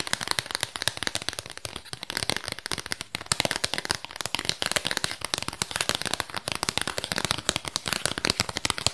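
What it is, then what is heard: Cardboard album sleeve. Long nails tap and scratch quickly on a small, flat, square cardboard album sleeve with a printed disc, held up close to the microphone. A dense, steady stream of sharp, bright clicks and crackly scratches continues for the whole clip, with very little low end.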